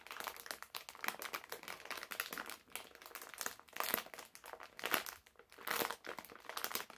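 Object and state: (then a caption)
Plastic candy bag being crinkled. A medium printed plastic-film bag full of hard candies is held in both hands while fingertips crinkle and crush the film. The result is dense, bright, crackly crinkling with almost no low end, rising into louder crunchy bursts near 4, 5 and 6 seconds, then settling back.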